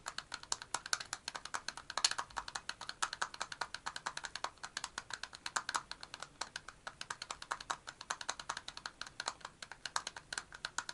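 Fingertips and nails tap quickly on the cap of a black and purple metal aerosol deodorant can standing upright. The result is a rapid, steady stream of short, dry, bright clicks with almost no low end and no ring after each tap.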